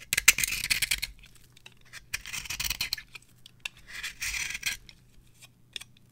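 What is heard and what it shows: A small metal blade scrapes and carves fluffy shavings from the end of a palm-sized, solid, rectangular bar of dry, varnished orange soap held in the hand. Three main bursts of bright, crisp scratching are heard, with faint clicks and ticks between them and little low end.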